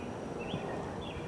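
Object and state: Nothing is struck.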